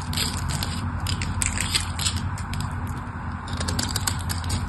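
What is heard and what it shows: A craft knife scrapes carved cubes off the face of a solid mauve rectangular bar soap with a diamond pattern, held in the hand. Dry, crunchy scraping and crackling run throughout, with bright crisp flecks over a steady low rumble.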